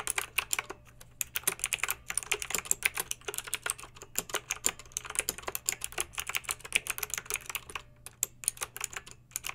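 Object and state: Plastic mechanical keyboard being typed on.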